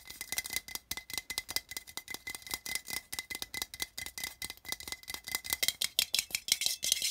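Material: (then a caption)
Tinplate. Fingertips and nails tap quickly on the side of a small, open, empty printed tin can, a hollow metal tin with a printed pattern. The result is a fast, steady stream of short, bright, clicky ticks with almost no low end and very little ring after each tap.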